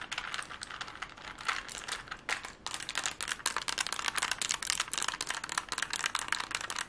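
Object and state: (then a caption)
Plastic Rubik's cube. A plastic Rubik's cube held close has its layers twisted quickly, producing a dense, continuous run of sharp, dry plastic clicks and rattles. The sound is bright and crisp, with almost no low end, a brief lull just before the middle, and then even faster, louder clicking through the end.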